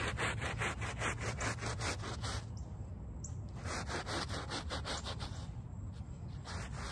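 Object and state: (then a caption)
Woven rug backing being scrubbed. A small handheld brush with a brown back scrubs the back side of a small, wet, soapy woven rug lying on pavement. Quick, rhythmic strokes make a steady, rasping scrubbing sound with broad, bright noise, easing briefly partway through before resuming.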